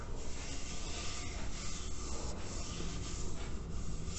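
Fingertips and nails scratch and rub the curved side of a large hollow terracotta clay water filter with red bands and a label. A steady, low, rumbling scrape continues without break, carrying a dull hollow body under a faint rasp.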